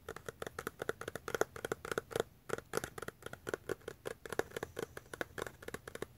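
Fingertips and nails tap and scratch the sides of a small yellow-brown cardboard box with a white label, which appears hollow and closed. A quick, uneven run of dry, short taps carries a hollow mid-range knock around 430 Hz, with bright scratchy edges. The taps pause briefly past the two-second mark, then continue to the end.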